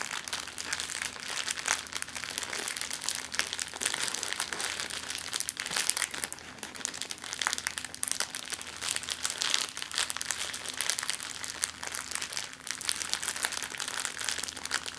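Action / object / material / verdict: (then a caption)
scrape / clear plastic zip-lock bag / plastic / none. An empty clear plastic zip-lock bag is rolled up, squeezed and crumpled in both hands with long nails. The result is a steady, dense stream of bright, crisp crinkling and crackling that lasts the whole clip, with little low end.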